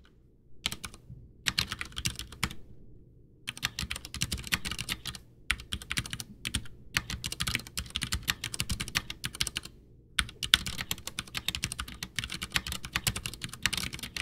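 Both hands type with their fingertips on a full-size, backlit, white plastic Ducky One 2 mechanical keyboard with Cherry MX Brown switches and a hollow case resting on a desk. Bursts of rapid, bright, clacky keystrokes come with short pauses between them. Each click dies away almost at once over a faint low rumble.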